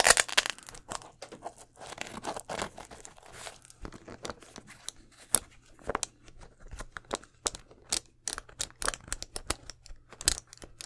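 Fingers and nails scratch and tap the leather upper and removable swoosh of an empty white leather Air Force 1 low sneaker with a gum sole. Dry, bright, crinkly scratching mixes with quick sharp taps that stop dead, over a faint steady low hum.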